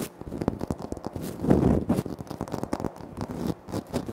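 Fingertips and nails tap and scratch across a large, flat, solid speckled granite-like floor tile, with the hands close to a Tascam recorder. Quick, dull taps mix with crackly scratching that swells into a louder rubbing burst midway. The sound stays low and muted, with almost no bright edge.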